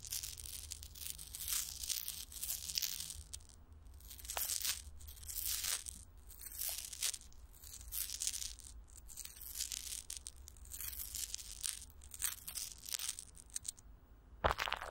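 Fingertips tap and rub clear plastic film stretched over a hollow microphone grille, with Vaseline on the wrap. Bursts of bright crinkling and tearing-like rustle rise and fall over a steady low hum. A sharper crackle sounds near the end.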